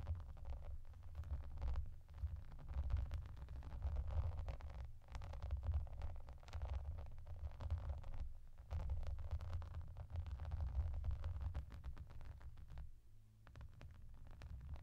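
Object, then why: Soft plastic bath mat with raised bubbles. Long dark-painted nails tap and scratch with both hands across a flat, clear-grey soft plastic bath mat covered in small raised hollow bubbles and yellow duck shapes. The result is a dense, steady run of soft tapping and scratching that sounds low and muffled, with almost no bright content, easing briefly near the 13-second mark before carrying on.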